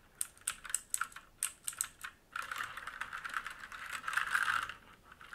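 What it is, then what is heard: Mechanical keyboard with plastic keycaps. Fingertips of both hands type on a black mechanical keyboard with plastic keycaps and a metal top plate and frame, resting on a wooden desk. Separate, sharp, bright key clicks come first, then quicken into a dense, continuous clatter of rapid typing before easing off at the end.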